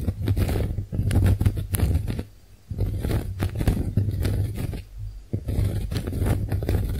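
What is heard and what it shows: Long nails scratch and tap the porous surface of a pink, heart-shaped konjac face sponge, making dense, close, muffled scraping and tapping with a steady low hum underneath. The sound comes in busy bursts, with short quiet pauses near 2.5 and 5 seconds.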